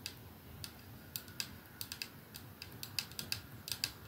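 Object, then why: Glass perfume bottle with metal band. Fingertips and nails of both hands slowly tap a capsule-shaped 212 perfume bottle with clear glass ends and a silver middle band, hollow with liquid inside, lying on a dark surface. The result is a quiet, irregular series of short, bright, high clicks that die away almost instantly over a soft hiss.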